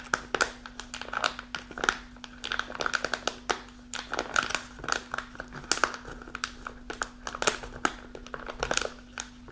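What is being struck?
Kraft paper pouch.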